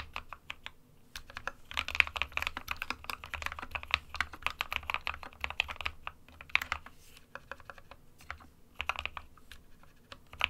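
Fingertips of both hands type on an SK61 compact 60% plastic mechanical keyboard with white and grey keycaps. Rapid, bright, clacky keystrokes come in bursts, each tap dying away almost instantly, with brief pauses between runs. A faint low hum sits underneath.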